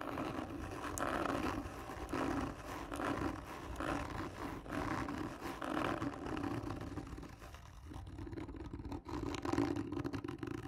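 Long nails slowly and firmly scratch the surface of a hollow, black textured cardboard gift tube. The result is a continuous, rough rasping scrape that swells and fades in long strokes, with a hollow, humming resonance near 285 Hz and little high-end brightness.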